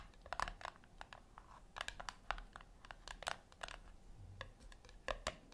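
Long nails tap the top lid of a flat, round, brushed-metal tin, seemingly hollow, resting on a white cloth. Quick, irregular bursts of sharp, clicky taps with a hollow metallic ring die away almost instantly over a quiet background hiss.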